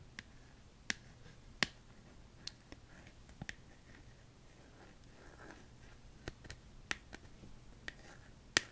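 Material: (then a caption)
Plastic. Long acrylic nails tap the back of a smartphone held up in one hand, in a hard plastic case with a colorful flower print. Sharp, dry clicks come at irregular intervals, each bright and dying away almost instantly, over a quiet, faint background hiss.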